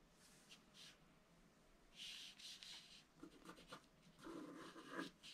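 A wooden stylus scratches fine strokes into the black coating of a scratch-art card in a book. Quiet, dry rasping strokes come in short bursts, each with a bright, hissy scrape and little low end.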